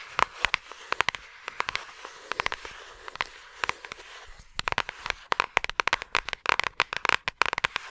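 Long acrylic nails tap and scratch a thin, flat yellow paper envelope or card held close to the microphone. The result is a quick run of sharp, dry clicks with a bright papery edge, each dying away almost instantly over a soft scratchy hiss. The taps come sparser in the first half, ease briefly, then turn faster and denser toward the end.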